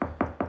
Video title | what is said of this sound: Pressure Treated Beams Aren't Perfect - Hidden Damage | It almost sounds kind of hollow.